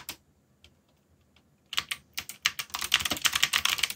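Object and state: Plastic mechanical keyboard being typed on.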